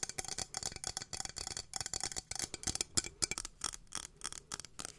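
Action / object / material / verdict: tap / small textured metal cylinder / metal / none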